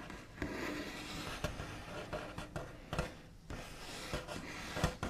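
The backs of fingernails tap and trace across a large, flat, solid wooden tabletop with a smooth white finish. A steady dry scratching rub runs throughout, broken by about nine short, sharp taps that die away almost instantly.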